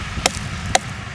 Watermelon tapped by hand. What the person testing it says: తయారైతే గనుక tongue tongue మని sound వస్తుంది లేకపోతే డొప్ప సౌండ్ లాంటిది వచ్చేస్తుంది